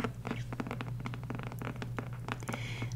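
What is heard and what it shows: Long nails tap and scratch the glossy, colorful card cover of a small, solid paperback copy of "The Four Agreements" held in one hand. A rapid run of short, dry clicks and brief scratches sits over a steady low hum.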